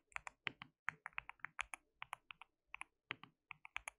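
Fingertips of both hands type on a white plastic mechanical keyboard with translucent keycaps, producing about 23 quick, bright keystroke clicks in uneven bursts. Each click is sharp and dies almost instantly, with little low end beneath the clacks.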